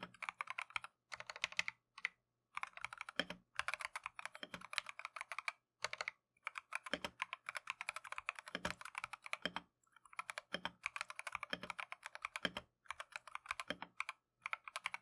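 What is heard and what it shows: Gloved fingertips type continuously on a plastic Keychron V1 mechanical keyboard with Tangerine switches and green/cream PBT Matcha keycaps. Rapid, bright clacky taps come in bursts separated by brief pauses, each keystroke short and crisp with almost no ring.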